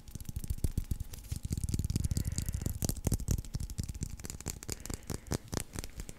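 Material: Leather.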